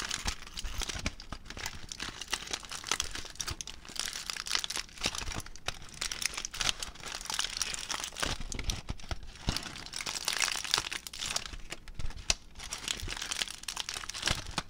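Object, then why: Small crumpled aluminium foil ball. A small crumpled aluminium foil ball is squeezed and crinkled between fingertips. Dense, bright crackling and crunching runs continuously for about 15 seconds, with quick sharp snaps over a faint low rumble.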